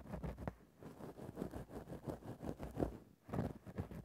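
A thin bamboo ear-pick tip repeatedly scratches the same spot on a grey faux-fur microphone windscreen. The result is a quiet, muffled series of soft rustling strokes that pulse in a steady rhythm with a low, dull body and almost no bright content. Two brief pauses break up the scratching.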